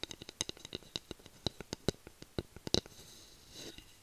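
Long nails scratch and tap the flat head of a solid bamboo spatula held close to the mic, making a quick series of short, dry, bright clicks with no ring. Near the end, the tapping gives way to a softer, brief scraping rustle that fades out.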